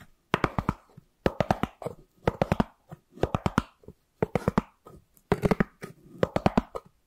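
A white, round styrofoam plate with a ridged rim, held to the left of the microphone, is rubbed and scratched with fingertips and nails. Short clusters of quick, dry, squeaky scratches and clicks come in bursts separated by brief pauses, with no ring after each stroke.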